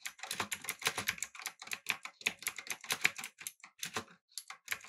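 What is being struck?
Mechanical keyboard with plastic keycaps.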